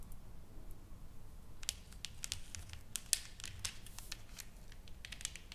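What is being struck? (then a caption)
Painted wooden plaque tapped and scratched with nails. Long nails tap and scratch across a solid, flat painted wooden plaque, a sign board with carved lettering and painted flowers lying on a table. The result is a quiet run of short, crisp, dry clicks and scratchy strokes with bright high-frequency detail over a soft low background rumble.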